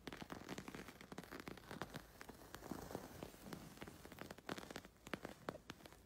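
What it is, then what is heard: Embroidered fabric scratched. A fingertip and short fingernail scratch and rub across the raised wool or yarn chain stitching of a densely embroidered fabric, possibly a cushion or bag, with heart and leaf motifs. The sound is a quiet, continuous stream of quick, crisp crackles and ticks over a soft, low rustling bed, with brief louder scratches standing out now and then.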